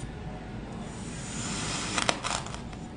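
A white ceramic knife cuts thin slices off a solid green heart-shaped block of packed kinetic sand resting on a wooden cutting board. A soft, steady grainy scraping runs throughout, then a few short bright crunchy bursts break in near the end as the blade scrapes through the sand.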